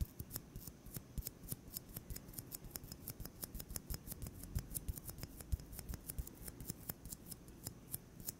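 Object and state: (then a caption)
Styrofoam ball. A solid white styrofoam ball about 8 cm across is held in one hand and tapped with the fingertips of the other hand. It produces a quick, steady run of dozens of soft, dry taps, each a short bright click over a muffled low thud. The taps die away at once with no ring.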